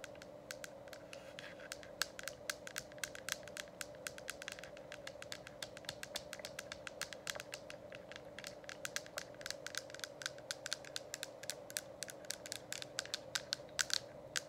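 Long acrylic nails tap and scratch near the base of a hollow, lit plastic diffuser dome cover. The result is a dense run of quick, dry, bright clicks and light scrapes over a steady low hum.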